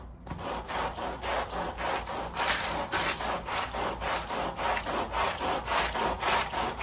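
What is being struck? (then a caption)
Woven pile rug scrubbed with a bristle push brush. The wet, foamy back side of a woven pile area rug, laid on a plastic sheet, is scrubbed with a red-handled push brush with white bristles. Steady back-and-forth strokes make a bright, raspy swishing, a little under two strokes per second. The rhythm is fairly even and continues through the whole clip.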